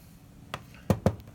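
Three short, dull taps on a lower plastic trim part of an ND Mazda Miata, one light tap followed by two firmer ones. Each knock is a low, hollow thud that dies away almost instantly, with no metallic ring, which marks the part as plastic.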